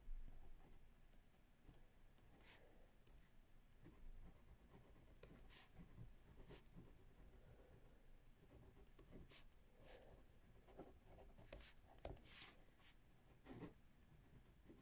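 A ballpoint pen writes continuously on a page of a lined paper notebook resting on a wooden table. Soft scratching and rubbing of the pen tip on paper is heard at a quiet level, with brief bright ticks and strokes standing out over a low background hum.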